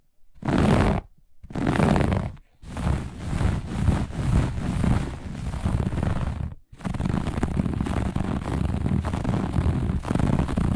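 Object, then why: Looped pile textile carpet. Long nails on both hands scratch quickly and forcefully across a grey-beige looped pile carpet. The result is a dense, low, rumbling rasp: two short bursts, then a brief gap, then nearly continuous scratching that pauses once before running to the end.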